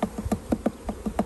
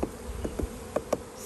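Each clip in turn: First: hollow-sounding hive frame with no honey. Second: full hive frame (honey present).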